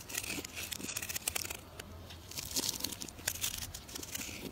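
A solid rounded orange bar of soap, held in the hand, is scraped and carved with a metal knife into fine shavings. Dense, bright, crisp scraping and crackling sounds come in quick, overlapping bursts that sound like tearing and crinkling.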